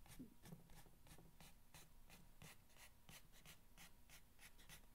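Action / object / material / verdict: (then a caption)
scrape / corrugated cardboard box / cardboard / none. Fingernails scratch and rub across the ridged top of a long, hollow corrugated cardboard box resting on a blanket. A steady run of quick, dry scraping strokes keeps up a soft, continuous rustle with a low, hollow undertone.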